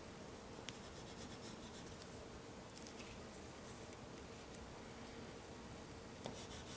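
A white pencil held in the fingertips scratches and rubs across a flat sheet of black drawing paper resting on a sketchbook or board while sketching the Millennium Falcon. The sound is a quiet, steady, grainy scratching over a faint low hum, with a few brief, brighter ticks where the pencil catches or lifts.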